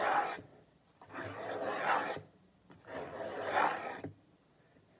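Fingertips and nails tap and scrape the side of a large, hollow white plastic bottle with a printed label standing on a table. It makes three separate bursts of dry, raspy, scratchy tapping centred in the mid-range, with quiet gaps between them.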